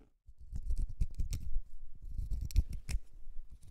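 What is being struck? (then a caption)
Natural cork stopper. A large, solid natural cork stopper held in the fingers has its porous surface scratched by long red nails. The result is a quick, continuous run of short, dry scratching strokes, mostly a low, papery rumble with brief bright crackles on the sharper strokes.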